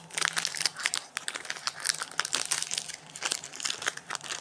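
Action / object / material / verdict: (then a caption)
scrape / snack bar in a plastic wrapper / plastic film / none. Fingertips rub, press and crinkle the printed plastic wrapper and crimped end of a solid white Protein Klex bar lying on a granite counter. A dense run of bright, crisp crinkles and crackles comes in quick overlapping bursts with no low end. Each burst snaps off at once with no ring.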